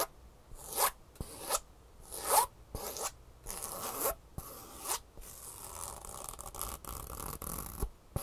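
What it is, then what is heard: Foam shoe insole with textured fabric top. A green foam shoe insole with a textured fabric top is held upright while long nails scratch across the fabric top and the foam edge. Short, irregular bursts of bright, raspy, zipper-like scratching come and go, with a few soft thumps between strokes.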